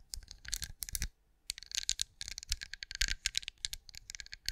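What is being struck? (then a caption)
Wax candle shaped like a pinecone. Long acrylic nails tap rapidly on a hand-sized, cream, pinecone-shaped wax candle that appears solid, held beside a microphone. Bright, dry clicks and light rattling scratches come in dense flurries, with a brief pause just after the first second. Each tap dies away almost instantly, with only a faint low thump underneath.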